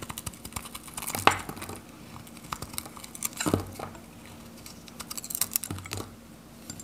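A metal utility knife scrapes and shaves brittle teal flakes off a hand-held, dry, varnished Godrej No. 1 bar soap, orange on the outside with a teal interior. The scraping comes as dry, crackly, bright bursts with short ticks and crinkles, peaking in a few sharper strokes over a faint steady low hum.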